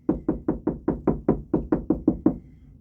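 Knuckle knocks along drywall over a wooden stud, twelve short, dull thuds centered around 300 Hz that die away almost instantly. The knocks sound firm and solid, marking the stud behind the wall.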